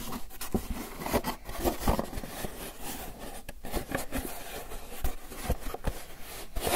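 Fingertips and nails scratch, rub and tap the lid and sides of a small, hollow, closed white styrofoam clamshell takeout container held in the hands. The result is a continuous dry, squeaky scratching and rubbing texture, punctuated by short, sharp taps that stand out as brief bright clicks over a low, hollow body.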